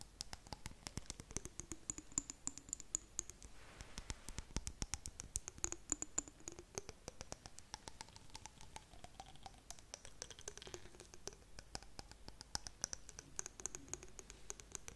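Long nails tap and scratch the glass side of a small, clear glass jar with blue contents, held close to the mic. Quick, dry, bright clicks patter steadily for the whole clip, under faint sliding tones and a high, thin ring.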